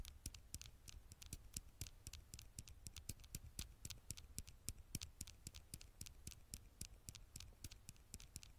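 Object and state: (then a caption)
Glass phone screen tapped with fingernails. Long fingernails on the right hand scratch and tap the glass screen of a black smartphone held in the left hand. The result is a rapid, irregular stream of short, bright clicks over a soft scratchy rustle and a steady low hum.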